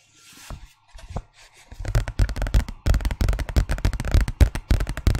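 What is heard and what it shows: A large, thin, empty-looking white paper envelope is held in the hands and tapped and scratched with fingernails. A few soft, scattered taps and papery scratches at first give way to a quick, irregular run of dull, low, papery thuds and crackles that die away almost at once.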